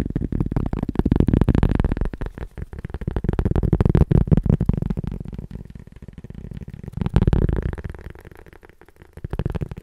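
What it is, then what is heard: Cork disc. A small, round, solid cork disc held in one hand is tapped and scratched with the fingertips and nails of the other hand. The result is rapid, irregular, dry, low-pitched tapping and soft scratching that comes in bursts with quieter stretches between them, with no ring after each touch.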